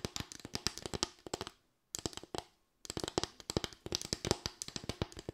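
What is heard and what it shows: Long white nails tap and scratch across a small, light bamboo board with raised slats, making dozens of quick, dry, bright clicks with almost no ring. The taps come in brisk runs broken by two short silent pauses, then resume steadily to the end.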